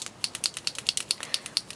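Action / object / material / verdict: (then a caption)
shake / plastic chalk marker with ink and mixing ball / plastic / none. A plastic liquid chalk marker holding ink and a mixing ball is shaken to activate it, and the ball rattles inside. About fifteen quick, bright, high-pitched clicks follow one another in a steady rhythm, each dying away almost instantly. The rattle is normal for the marker.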